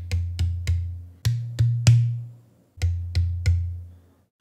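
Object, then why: Wooden drum shell with metal lugs. A headless, snare-size wooden drum shell with a natural wood interior with holes, a black wrapped exterior and chrome lugs attached is held in one hand, hollow and open, and knocked with the knuckles nine times in three groups of three. Each knock gives a sharp click and a low, hollow, pitched boom around 117 Hz that rings briefly before fading.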